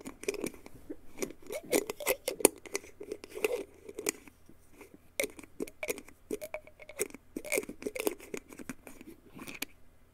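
A small, mostly empty clear glass jar with a black plastic screw lid is held in both hands while fingertips and nails tap and scratch its glass body. Dense, quick clicks and brief bright ticks overlap with soft hollow ringing around the mid range, in a quiet, close setting.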